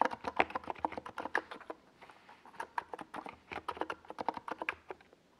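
Fingertips type continuously on a NiZ Plum Atom 68, a small 68-key mechanical keyboard with a white plastic case and purple and yellow Domikey Gas Attack SA plastic keycaps, resting on a desk pad. About 28 short, clacky keystrokes are heard, centered in the midrange with a bright edge, with a brief pause near the middle of the burst.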